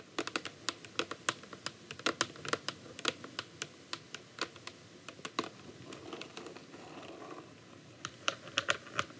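A clear plastic bottle of micellar water, full of liquid and held horizontally, is rapidly tapped on its front with the tips of long acrylic nails. The taps are sharp, bright clicks that die away almost instantly, coming in quick irregular bursts. A softer, scratchier stretch in the middle gives way to a final run of crisp taps.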